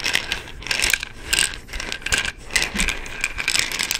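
The orange cap of an amber plastic pill bottle is twisted, giving quick, bright, ratchet-like clicks, while the bottle is handled and tapped with the fingertips. The clicks are dry and short with almost no ring, coming in irregular clusters over a soft rustling background.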